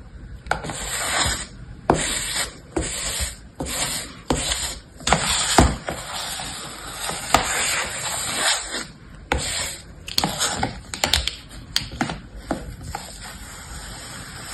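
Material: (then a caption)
Sand. An orange plastic scraper held in the fingers is dragged across a flat layer of kinetic sand filling a shallow mint-green plastic tray, while the other hand steadies the tray. The strokes smooth and scrape the sand, making repeated soft, gritty, bright scraping sweeps broken by short gaps and a few sharp little clicks.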